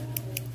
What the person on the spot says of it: You can hear the ball that's inside there. That's going to get all the product nice and even.